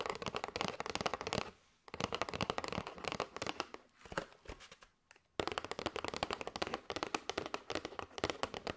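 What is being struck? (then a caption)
Cardboard box of paper straws. Long white nails tap rapidly on a flat kraft cardboard box with a clear plastic window, full of paper straws. The taps are quick, dry and clicky, with bright papery rattling and almost no ring. They come in dense bursts broken by two short pauses.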